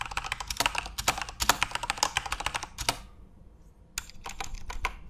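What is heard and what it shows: Both hands type rapidly with their fingertips on a Corsair mechanical computer keyboard with plastic keycaps and an RGB backlight, resting on a desk. A dense burst of sharp, bright clacking keystrokes is followed by a short pause near the three-second mark, then the tapping resumes at a slightly lighter level.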